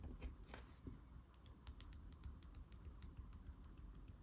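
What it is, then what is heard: Cardboard board book. Fingernails tap and scratch the back cover of a thick laminated cardboard board book, then the book is turned over and its glossy front cover is tapped with the fingertips. The result is a quiet run of short, dry, crisp clicks and brief scratches over a low, steady rumble.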